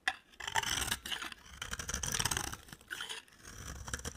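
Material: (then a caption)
Soap. A utility knife blade scrapes curly shavings off a solid, cream-colored, rectangular dry soap bar held in the hand. The sound is a series of dry, crisp, bright scraping strokes with short gritty crackles, rising and falling in uneven bursts over about four seconds.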